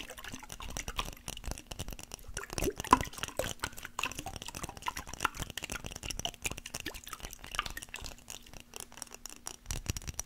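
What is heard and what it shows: Fingernails tap and scratch a small clear glass mason jar with a metal lid, holding some liquid, close to the microphone. It produces a dense run of rapid, short, bright clicks and scratchy brushing with quick glassy ticks, over a faint steady low hum.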